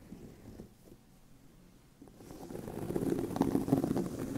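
Fingernails of both hands scratch the surface of a tan pebbled leather handbag with a hollow bag body. The first two seconds bring faint, sparse scratches; then the scratching grows louder and denser into a rough, low-mid rustling that builds to its loudest near the end.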